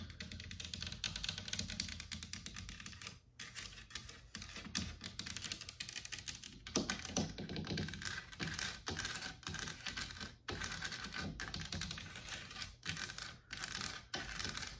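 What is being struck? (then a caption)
Painted carved wooden wall panel. Long black nails tap and scratch along the leaf scrolls of a large white-painted, distressed carved wooden wall panel in solid relief. Rapid, dense, dry clicks and scrapes run throughout with a bright edge, each tap dying out almost instantly. The stream breaks only in a few brief pauses.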